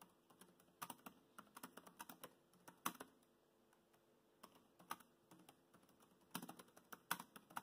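Fingertips tap the black plastic keys of a laptop keyboard while typing, making about 29 short, crisp clicks in uneven bursts with brief pauses between them. The taps are quiet and dry, with almost no ring and a light, bright clatter.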